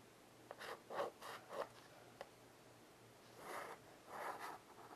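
A small wood-framed blackboard, mostly erased and resting on carpet, is scratched as a child draws long lines with white chalk. Short, scratchy strokes come in an uneven rhythm with two brief sharp clicks, followed by longer, drawn-out scrapes. The sound is quiet and dry, centered in the mid range.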